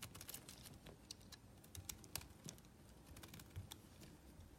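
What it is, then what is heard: Bar soap being shaved. A palm-sized solid white bar of soap with traces of yellow paint is held in the hand and shaved with a small metal blade. It makes a quiet stream of quick, dry, bright scraping clicks that stop short with almost no ring, over a faint low rumble.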